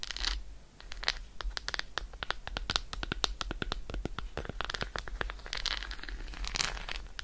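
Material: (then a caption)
Chocolate. Long nails scratch quickly along the embossed squares of an unwrapped solid milk chocolate bar held in one hand. The result is a rapid series of dry, bright scratches and clicks, with brief scraping swells and a steady low hum underneath.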